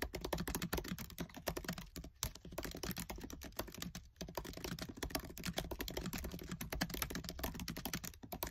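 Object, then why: Plastic laptop keyboard keys. Fingertips with short nails type fast on the black plastic keys of a MacBook Air keyboard set in an aluminium body. A dense, continuous stream of quick, crisp key clicks with a low thump under each press, pausing briefly around the two- and four-second marks.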